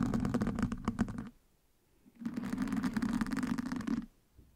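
Two wooden sticks scratch and poke the surface of a black foam windscreen on a microphone. Two bursts of dense, crackling scratching with a muffled, boomy tone are separated by a short silence, then it goes quiet.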